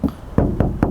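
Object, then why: Sheet metal car body panel. Knocks on the metal body panel of a 2013 Mercedes-Benz G-Class G350 BlueTEC, next to its plastic front fender, for contrast with the fender. Four dull, low knocks with short ring and little high-frequency content.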